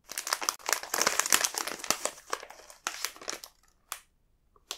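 A large, full multipack bag of coconut biscuits made of printed plastic film is held and turned in the fingers, crinkling the film. Dense, bright crackling runs for about three and a half seconds, then thins to a few sharp isolated crinkles separated by near silence, with one last crackle at the very end.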